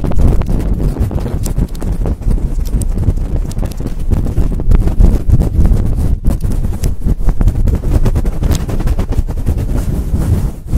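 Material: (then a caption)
Synthetic fur. Long acrylic nails scratch quickly at the sides of a large, fluffy synthetic-fur microphone windscreen. The result is a loud, continuous, deep rumbling scrape, thick with rapid muffled rubbing strokes that carry almost no high treble.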